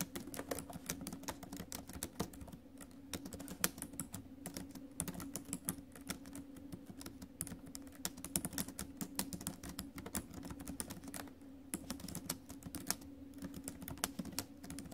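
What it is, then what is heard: Laptop keyboard with plastic keys in a metal body. Fingertips and acrylic nails type fast on the plastic keys of a silver metal laptop. The result is a dense, steady stream of short, crisp clicks and taps with bright edges, heard over a faint low hum.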